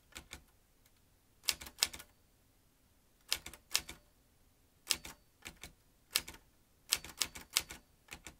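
Fingertips type fast on a metal manual typewriter. Sharp, bright key clacks come in quick bursts separated by short pauses, with almost no low end and each strike dying away almost instantly.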